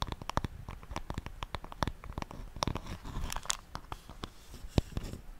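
Long nails tap and scratch the wooden surface of a solid wooden paddle hairbrush held close to the microphone. A rapid, uneven series of sharp, dry clicks comes through, with bright tips and no ring, over a soft scratchy rustle and a low, close-up thump.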